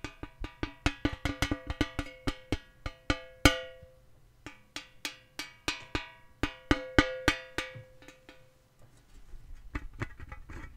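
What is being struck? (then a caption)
Round metal tin box. A round, hollow, flat painted metal tin box with an orange rim and a colourful lid is held up and tapped with fingertips and nails on the lid and rim. The taps come in quick runs, each giving a short ringing, cowbell-like tone around 290 Hz with bright overtones. A quieter, softer run of taps follows a pause near the end.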